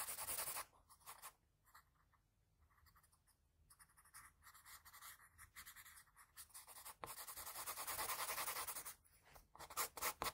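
A graphite pencil held flat rubs repeated shading strokes across a sheet of drawing paper. It makes bright, hissy scratching in bursts, with a loud opening stroke, a quieter stretch of short, lighter strokes in the middle, and dense, loud continuous shading near the end before a few final sharp strokes.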